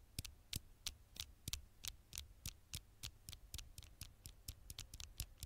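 Fingertips and long nails tap quickly on the flat glass screen of a dark smartphone held close to the microphone. About 21 short, dry clicks sound in an uneven rhythm, each with a bright tick and a soft low thump that dies away at once. A faint low hum runs underneath.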